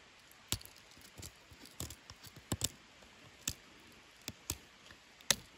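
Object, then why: Wooden walking stick scraped with a knife blade. A pocket knife blade scrapes and whittles the knots on a long, solid, smooth debarked wooden branch used as a walking stick. Nine crisp, bright scraping clicks ring briefly over quiet, soft shaving sounds.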